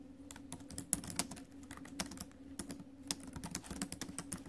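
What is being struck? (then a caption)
Laptop keyboard, plastic keys in a metal body. Two hands with long acrylic nails type rapidly on a silver ASUS laptop keyboard whose plastic keys sit in a metallic silver chassis above the trackpad. The result is a quick, steady run of short, bright taps and clicks over a low hum.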